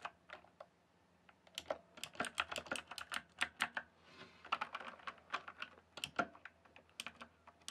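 Fingertips type and tap on a rainbow-backlit mechanical keyboard with plastic keycaps, producing quick, sharp, bright clicks with very short decay. The keystrokes come in uneven bursts, with a brief pause near the middle before the typing resumes.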